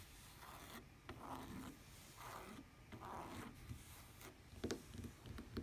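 Long painted nails rapidly tap and scratch a lavender tablet case with a woven fabric cover and plastic edge lying on a table. Soft, dry rasping strokes swell and fade in repeated passes, broken by a few sharper clicks toward the end.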